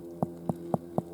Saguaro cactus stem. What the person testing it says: full almost sounds like a pumpkin when you tap him